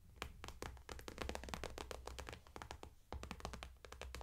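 Long manicured nails tap and scratch quickly across a medium clear vinyl/PVC cosmetic bag with a white daisy print and pink zipper trim, lying flat and full of makeup brushes and products. The result is a dense run of sharp, crisp plastic clicks and scrapes that die away almost at once, over a steady low hum.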